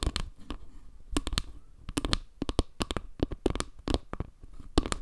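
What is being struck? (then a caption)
Round panel of wood slices tapped with fingernails. Long nails tap and scratch along the lower edge and the dark center tiles of a round wooden log-slice panel held above a microphone. Quick clusters of sharp, dry clicks with bright edges stand out over a low, soft rumble, each tap dying away almost instantly between faint scratchy strokes.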